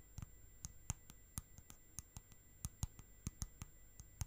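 Long nails tap and click on the side wall and lid of a small round clear plastic tub with a lid, full of orange slime. About seventeen short, dry clicks with a dull low thump land at an irregular pace, each dying away almost instantly over a quiet background with a faint steady high tone.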